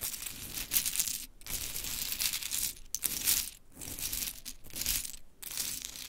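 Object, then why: Small wooden clothespins with metal springs. Long, pointed chrome nails rake, scratch and tap through a loose pile of many mini pink-painted wooden clothespins with metal springs resting on glittery fabric. The result is a steady, bright, crisp clatter of small clicks and scratchy rustling, broken by a few brief quiet pauses as the nails lift and dig back in.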